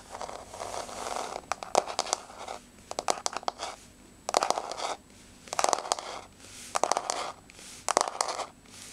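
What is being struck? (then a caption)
Wood-look laminate floor. Long blue-grey fingernails tap and scratch across a flat, solid wood-look laminate floor with a wood-grain surface. Bursts of quick, dry clicking taps alternate with raspy scraping strokes, with short pauses between bursts. The sound is bright and midrange-centered, with no low end and almost no ring after each tap.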